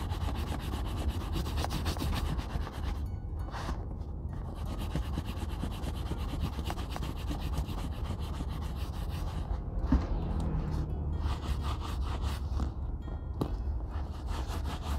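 A grey cloth rag is rubbed by hand over the hollow shaft of a brown tooled leather Red Wing Pecos 9801 cowboy boot lying on a wooden table. The result is a steady, low, muffled rubbing and scuffing that runs the whole clip with only faint brighter edges and a few soft knocks.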